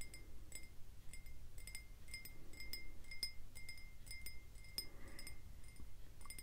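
A clear, ridged drinking glass, hollow and empty, is held up in one hand and tapped and flicked with the fingertips and nails of the other. It gives a quick run of bright, high, chime-like clinks that ring only briefly, over a steady low rumble.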